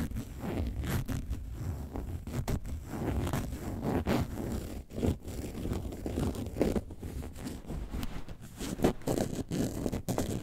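Long nails scratch the side and front of an upright, box-shaped, hollow yellow faux leather bag shaped like a lemonade carton. The result is a steady run of dry, rasping scrapes and rustles, with a muffled, low-heavy body and little brightness.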